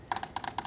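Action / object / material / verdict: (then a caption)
tap / wooden decorative furniture piece / wood / none. Fingers tap quickly on a decorative wooden furniture piece bought on sale, producing a rapid series of short, dry, hollow knocks. The knocks are pitched around 950 Hz, with little low end, and each dies away almost instantly.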